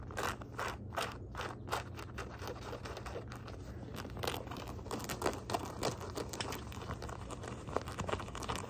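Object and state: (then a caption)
Denim shorts scratched. Fingertips and nails scratch the fabric near the pockets of gray denim jean shorts with copper rivets. The result is a run of short, dry, rasping scrapes with a bright edge, some strokes louder than others, over a steady low hum.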